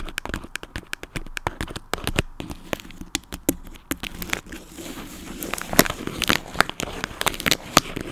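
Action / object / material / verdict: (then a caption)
tap / plastic toy dog figure / plastic / none. Tapping on a plastic toy dog produces rapid, irregular bright clicks and taps over soft crinkly crackling. The sharp, short transients come in dense clusters with little low end.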